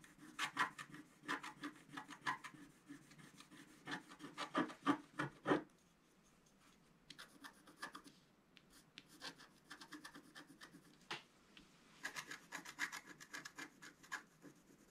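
A wooden stylus rubs and scratches a flat scratch art sheet, black coating on paper, in quick, uneven rasping strokes. Loud, bright scratches come in dense bursts for the first five and a half seconds, then stop briefly. Softer, sparser strokes follow, with another burst of sharper scratching near the end.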